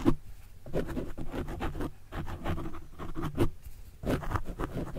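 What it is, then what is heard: Foam microphone windscreen scratched. A white plastic stylus tip is drawn in writing strokes across the soft, porous, tapering black foam windscreen over a desktop microphone. Quick, overlapping scratchy strokes come through as a dense, muffled rustle heavy in low rumble, with louder bursts where the tip presses harder, and no speech.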